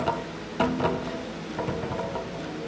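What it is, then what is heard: Kick scooter drop test, wheel assembly tight. A kick scooter with a metal deck and a freshly reinstalled, tightened rear wheel axle is spun and dropped to check for rattles. Two sharp impacts ring briefly with a mid-pitched metallic tone, followed by a light ticking patter and no loose rattle. The wheel sounds tight and much better than before.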